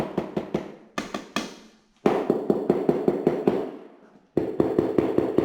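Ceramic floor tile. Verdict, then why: Hollow. Taps across a cracked ceramic floor tile area produce a series of short, hollow knocks with little ring, in three bursts separated by brief pauses. The whole area sounds hollow, so a dropped object could easily break the tile.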